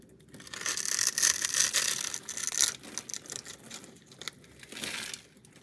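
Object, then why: Bar soap cut with a blade. A utility knife blade shaves and cuts into the surface of a palm-sized solid orange bar of soap, pre-scored with a cube pattern on one face and held in one hand. It makes a bright, crunchy scraping sound with almost no low end, louder in the first half before trailing off into quieter, irregular scrapes.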